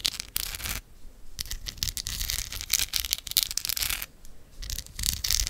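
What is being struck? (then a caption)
Amethyst crystal cluster scratched with fingernails. Long acrylic nails scratch and tap across the rough purple crystal points of a hand-sized solid amethyst cluster held close to the microphone. The sound is a dense, bright, crisp scratching sprinkled with quick dry clicks. It pauses briefly twice, where it drops to quieter, softer rubbing.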